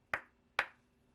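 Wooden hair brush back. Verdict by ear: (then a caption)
Solid. Two knocks on the wooden back of a Brush King wave hair brush give two short, bright, dry taps with a tone around 1.5 kHz that fade almost at once. The sound marks the brush's wood as solid and good quality.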